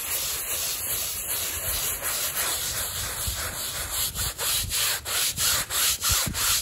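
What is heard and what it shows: A gloved hand scrubs a small, flat, woven fabric rug, wet and lathered with soap on plastic sheeting, back and forth with a stiff-bristled hand brush. A bright, hissy wet scrubbing rasp runs steadily at first, then breaks into distinct rhythmic strokes with short gaps between them toward the end.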